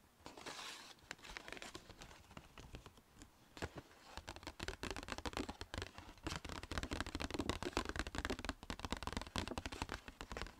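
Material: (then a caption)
Paper. Long nails rapidly tap and scratch the sides and rim of a small striped Sephora paper shopping bag with ribbon handles, making quick, dry crinkling taps and papery scrapes. The tapping grows denser and louder toward the end over a low rumble of slight wind.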